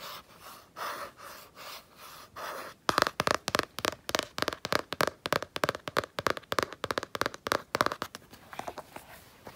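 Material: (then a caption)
Cardboard. Long painted nails and fingertips scratch and tap the blue printed cardboard cover of a Canson XL spiral sketchbook lying on a blanket. For the first three seconds there are soft, swelling scratching strokes, then a rapid, irregular run of sharp, dry clicking taps.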